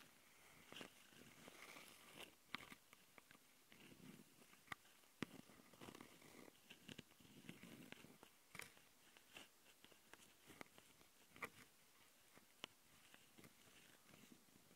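Long nails of both hands scratch the mic capsule housings of a handheld plastic Tascam audio recorder. The sound is close, quiet rasping and scraping with a bright, hissy texture, broken by frequent sharp clicks and taps that die away almost at once. It continues unevenly for the whole clip.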